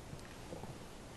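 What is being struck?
Nothing is struck.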